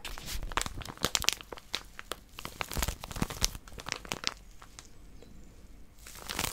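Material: Plastic wrap.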